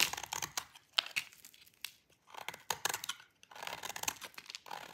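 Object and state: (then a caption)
Dry bar soap being scraped. A thin, solid piece of dry green bar soap is scraped with a metal utility blade, and fine shavings fall off. Quick, dry, crisp scraping strokes come in bursts with short pauses between them, bright and high with almost no low end.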